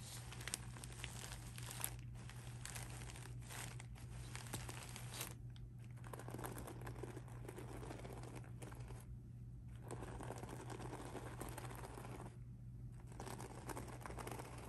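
Blue-painted nails and fingertips scratch across the surface of a pink rhinestone mesh handbag with straps lying flat, making a continuous crinkly, crackling scrape with a few brief pauses. A steady low hum runs underneath the quiet, bright scratching throughout.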